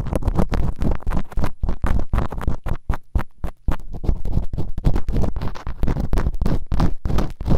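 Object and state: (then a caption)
Bamboo earpick scratching in silicone ear canals. Bamboo earpicks, held in fingertips with long nails, quickly scratch and rub inside the open canals of both solid, rubbery silicone ear models on a white binaural microphone. The result is a dense run of fast, close, scratchy strokes, heavy in low rumble, each stroke short and dry.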